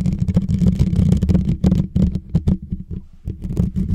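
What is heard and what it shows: Fingertips and short nails scratch and tap the hollow, rounded metal mesh grille on top of a white Blue Yeti microphone. The result is a rapid, irregular stream of close, deep, boomy thumps and rustling scrapes, heavy in low rumble with little brightness. Each tap dies away almost at once.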